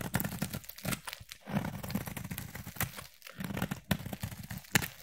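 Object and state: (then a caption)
Bar of soap being shaved. A utility knife blade shaves fine strands off a solid yellow bar of soap. It makes a steady run of dry, crinkly scraping strokes with brief bright ticks, broken by short quiet pauses. Each stroke stops dead with no ring.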